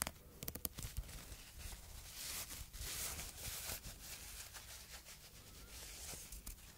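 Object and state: Fabric bow tie scratched with nails.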